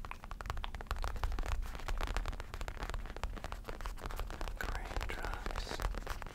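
Fingertips and short nails of both hands scratch and tap the padded, soft backrest of a black faux leather office chair with a mesh fabric rim. The result is a dense, continuous run of quick dry crackly scratches and soft taps with a dull, low, muffled body and very little ring.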